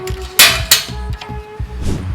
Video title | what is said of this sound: รีวิวเตาอบเป็ดสแตนเลส2ชั้นรุ่นใหม่ วาล์วทองเหลือง ฝาครอบหนา ฐานแข็งแรงกว่าเดิม by บ้านจำปาสร้างอาชีพ | ตัวเครื่องเป็นสแตนเลส2ชั้นนะครับสังเกตเวลาเคาะจะทึบๆเลยนะ